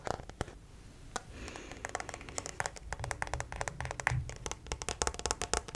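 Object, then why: Plastic acupuncture model figure. A white plastic acupuncture model doll is turned in the hands while fingertips tap and nails scratch its back and legs. Many quick, dry, bright taps with almost no ring are heard over a soft, rustling scratch.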